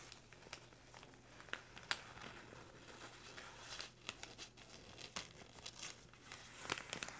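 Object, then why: Kraft paper bag. Fingers crinkle and scratch the top edge of a small, empty brown kraft paper bag lying flat. Quiet, dry crinkling and papery rustle run throughout, broken by sharp, bright crackles and ticks.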